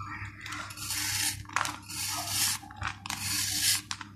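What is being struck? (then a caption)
Dried sand-cement ball scraped with a steel knife. A steel kitchen knife scrapes and shaves the flat cut face of a hand-sized, solid ball of dried sand and cement held in one hand, crumbling off powder. Repeated gritty, bright scraping strokes rasp and hiss, broken by short pauses and a few sharp scratchy flicks.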